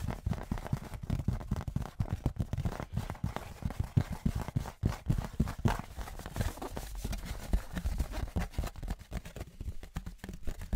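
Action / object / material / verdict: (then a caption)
tap / thin aluminium license plate / aluminium / none. A thin, flat metal novelty Patriots license plate, likely aluminum, is held up in both hands and tapped rhythmically with fingertips and nails. The result is a fast, steady run of dull, low, clip-clop-like knocks that die away almost instantly, with very little brightness.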